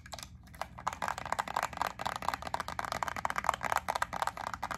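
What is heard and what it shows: Long acrylic nails tap and scratch a small clear plastic clamshell pack of solid white wax melt cubes with a yellow paper label on the back. A quick, uneven run of crisp plastic clicks and scratchy rustles is heard, with a tick-like tone near 1 kHz.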